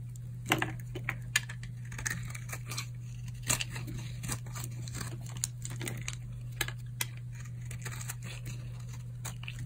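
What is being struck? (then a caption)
Bar of soap shaved with a knife blade. A utility knife blade shaves a solid tan oval bar of old, dry soap held in the palm. The result is a series of short, dry, crisp crunches and scraping flakes of varying loudness, heard over a steady low hum.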